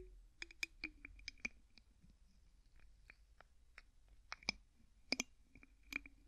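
Fingertips twist the white plastic screw cap on an empty clear plastic bottle, producing a quiet series of about eleven short, dry, bright clicks. The clicks are scattered irregularly over a faint background hiss, and each one dies away almost instantly.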